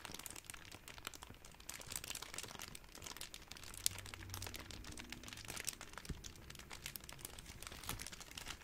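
A large wad of clear plastic bubble wrap is squeezed and crinkled with fingers, producing a steady, dense stream of soft, bright crackling and crinkling. A few sharper snaps stand out along the way, and a faint low hum sits underneath through the middle of the clip.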